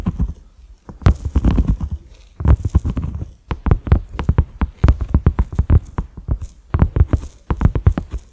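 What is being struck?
Silicone pot lid.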